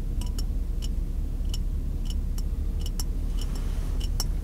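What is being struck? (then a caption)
Empty glass jar with metal screw lid. Fingers tap on the glass of an empty, clear glass jar with a metal screw lid, held sideways. Short, bright, clicky taps land at an irregular pace over a constant low rumble that dominates the sound.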